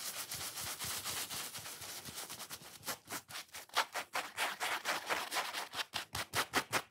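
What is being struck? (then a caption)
Foam sponge. A solid, watermelon-shaped foam sponge is held and bent while fingernails scratch and rub its grey-white foam side. The result is dense, bright, airy scratching that breaks after a few seconds into a quick series of sharp, separate rasping strokes with little low end.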